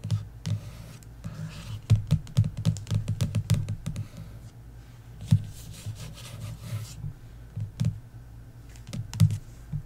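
Several long nails tap rapidly and scratch across the embossed cover of a paperback book lying flat. The clicks come in quick, uneven bursts with short dry knocks, low and thumpy in body, plus brief bright scratchy sweeps between them.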